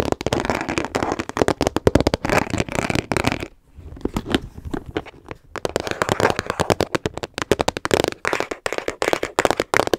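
A small hollow teal hard-plastic storage case with a translucent top, held in both hands, has its sides tapped fast with long nails. Rapid, dry, clicky taps blur into a crackling rattle, easing into a softer, scratchier stretch in the middle before the fast tapping resumes.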